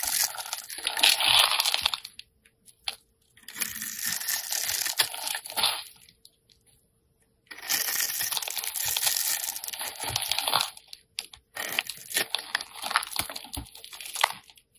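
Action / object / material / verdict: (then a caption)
scrape / soap bar / soap / none. A metal blade scrapes and chips the surface of a solid lime-green rectangular soap bar held in the hand, working in short strokes that leave crumbly shavings. The sound is a dry, bright, crackly scraping with crisp crunching ticks. It comes in longer bursts separated by brief silent pauses.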